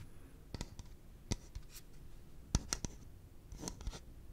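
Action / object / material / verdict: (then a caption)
tap / hollow plastic piggy bank / plastic / none. A yellow hollow plastic pig piggy bank is held in the hands and scratched and tapped with the fingertips. Quiet, irregular taps land as short, dry clicks with bright edges and a soft low thump. Faint scratching fills the gaps against a low, steady background hum.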